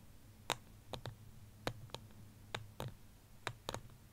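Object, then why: Small ceramic plant pot. Fingertips and nails tap on the side of a small white ceramic plant pot holding a succulent. The taps come as short, sharp, irregularly spaced clicks, some in quick pairs, each with a bright ping near 3.6 kHz that dies away almost instantly over a faint low hum.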